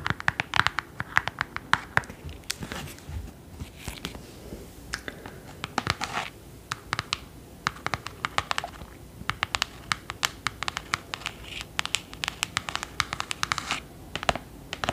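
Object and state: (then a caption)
Hardcover book tapped and scratched with nails. Long nails tap and scratch along the embossed spine of a thick, solid clothbound hardcover book held up in the air. Quick, dry clicks come in rapid, uneven bursts over a soft scratchy rasp. Each tap is short and bright with almost no ring.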